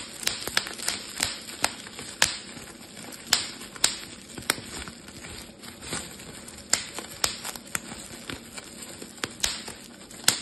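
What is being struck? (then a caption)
Plastic bubble wrap sheet. A clear, thin, air-filled plastic bubble wrap sheet is held in both hands while fingertips and thumbs squeeze and pop the bubbles. About eighteen sharp, bright pops snap out at irregular intervals over a steady, high crinkling hiss of the plastic. Each pop dies away almost instantly.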